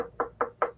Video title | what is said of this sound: Erick Scarecrow of ESC-TOY LTD. - Clutter Live Episode 23 - Designer Toys & More | you hear that it's Hollow like vinyl